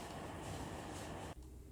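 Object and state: Nothing is struck.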